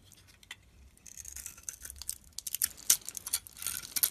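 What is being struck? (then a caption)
Solid bar of soap cut with a metal blade. A metal utility blade cuts and scrapes chunks off a solid bar of soap with a blue outer layer and cream core, held in the hand. Quiet, crisp, bright crackling scrapes and short ticks come in quick bursts, building denser and louder toward the end, with almost no low end and no ring.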